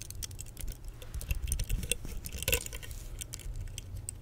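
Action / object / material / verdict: tap / plastic vented hairbrush / plastic / none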